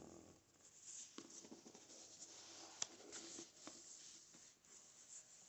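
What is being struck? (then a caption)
Hardcover book with paper-covered board. Fingertips and short nails of both hands tap on the solid paper-covered board cover of a closed hardcover book, "Handle with Care," lying on a plaid cloth. A quiet, bright, dry patter of light taps and faint scratching is heard, with three sharper clicks standing out and each dying away almost instantly.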